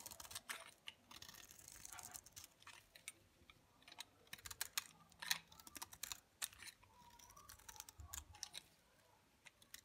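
A utility knife blade shaves stacked curls off the surface of a solid, dry olive green bar of soap held in a palm. The sound is a quick series of crisp, bright scraping crackles and clicks with little low end. Each cut ends almost at once.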